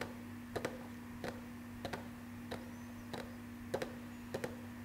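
Fingertips and nails tap and click on a small hollow cardboard Marvel Funko Pop #213 collectible box with a clear plastic front window and a vinyl figure inside, held in both hands. Short, dry, bright ticks come in quick pairs at an uneven pace, each dying away almost instantly. A steady low hum runs underneath throughout.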